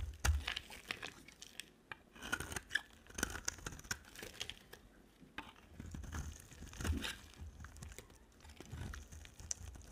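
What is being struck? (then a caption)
Soap bar. A utility knife blade scrapes and carves a solid green and white striped bar of dry soap, first while it rests on a table and then while it is held in hand. Dry, crumbly scraping and crunching come in short bursts separated by brief pauses, with soft low thumps beneath the brighter rasp.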